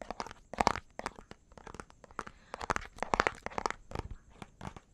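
A small, hollow, clear plastic bottle with a pink cap and white label is held in one hand near the microphone and tapped and scratched with the fingertips and nails of the other hand. The result is a fast run of sharp, dry plastic clicks and crinkly scratches with a mid-range hollow tone and no ring.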